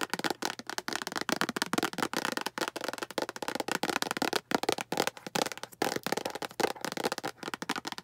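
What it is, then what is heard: Plastic storage box tapped with nails. Long acrylic nails rapidly tap the sides of a small, hollow, translucent green plastic storage box. The result is a dense, irregular run of crisp, clicky taps that die away almost instantly, with a bright top and almost no low end.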